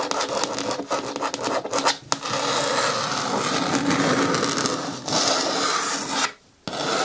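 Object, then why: Hard plastic bin with lid. Long fingernails scratch along the rim edge of a green hard plastic bin with a lid, its bottom turned outward. The result is a steady, bright rasping scrape with a few brief dips, then a short near-silent pause just past six seconds before the scratching resumes.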